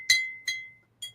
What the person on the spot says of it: you can hear that lead crystal ping